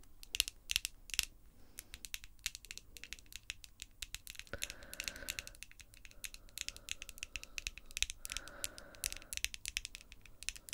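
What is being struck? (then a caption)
Long acrylic nails. Long, glossy pink acrylic artificial nails on both hands tap and scratch against each other. A rapid, irregular stream of sharp, bright clicks plays throughout, broken by two short stretches of raspy scraping with a faint mid-range tone around the middle and near the end.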